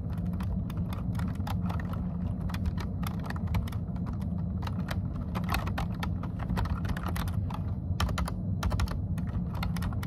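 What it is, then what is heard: Plastic computer keyboard being typed on. Fingertips type rapidly on a plastic computer keyboard, producing a dense stream of sharp, bright key clicks over a steady low hum, ending with a single finger pressing one key.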